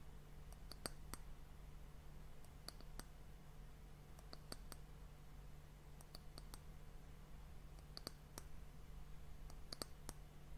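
Long fingernails tap the solid, polished brown wooden end cap of a glass hourglass sand timer, making quiet, sharp, bright clicks in small irregular clusters. A steady low hum sits underneath the taps.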